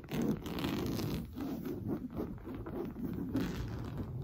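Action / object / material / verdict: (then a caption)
scrape / coarse woven fabric sofa cushion / woven fabric / none. Blue-painted nails scratch fast across an orange coarse-weave fabric sofa cushion. The result is a steady, dense, muffled scraping texture that sits mostly in the low and mid range, with rapid rasping strokes and little bright edge.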